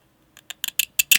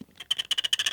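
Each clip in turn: First: aluminum phone buttons, bright metallic scratch. Second: titanium phone frame, scratch sound.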